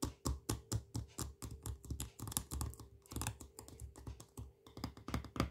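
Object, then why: Plastic jar of peanut butter. Fingernails tap and scratch the side and label of a full, medium plastic jar of smooth peanut butter with a blue plastic lid. A quick, uneven run of dull, low-heavy taps with short scratchy bursts dies away almost at once, over a faint steady hum.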